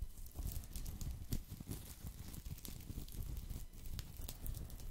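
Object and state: Woven straw placemat.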